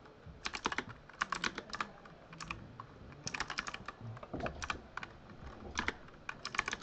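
Fingertips type on a full-size Razer Huntsman mechanical keyboard with lit plastic keycaps. Bursts of quick, sharp, bright clicks come in clusters with short pauses between them. Each keystroke stops almost instantly, with little low-end thump.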